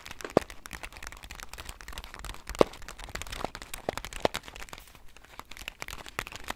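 Long nails scratch and tap the surface of a full, upright laminated foil-paper bag of whole bean coffee, giving a steady, quiet crinkling and scratching. Three sharper taps stand out with a short tonal click around 480 Hz, and each dies away at once.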